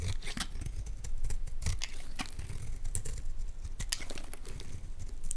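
A metal utility blade scrapes and carves flakes from the face of a solid, palm-sized white bar of Palmolive soap held in one hand. Continuous dry, crinkly rasps are marked by sharp, bright scratchy bursts as the blade cuts. A low rumble sits underneath throughout.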